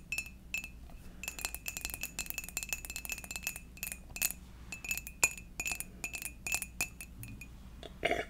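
Long dark nails tap rapidly on a hollow, seemingly empty white ceramic fox mug, making a quick series of bright, glassy clinks. Each tap carries a short ringing tone near 2.5 kHz that dies away almost at once. The tapping comes in uneven bursts over a low, steady background hum, ending with a louder, lower-pitched clink.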